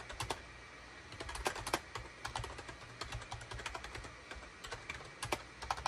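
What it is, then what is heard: Plastic computer keyboard. Fingertips of both hands rapidly type on a full-size gray, cream and orange SHIPADOO K600 wired USB keyboard with a hollow plastic housing, resting on a desk mat. The result is a quick, uneven run of bright, short plastic key clacks over a faint low hum.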